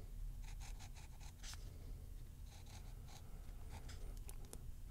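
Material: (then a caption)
Paper. A ballpoint pen held in the fingers writes and scratches letters into the grid squares of a softcover crossword puzzle book, its thin newsprint-like paper pages lying open on a wooden table. Quiet, bright scratchy pen strokes come in short bursts over a steady low rumble.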